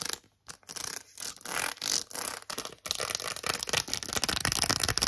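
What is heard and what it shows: Long acrylic nails tap and scratch quickly over a press-on nail set: plastic press-on nails attached to a small, flat cardboard card. Bright, crisp scratching comes in short, irregular bursts with brief pauses in between. After about three seconds the scratching settles into a denser, continuous texture.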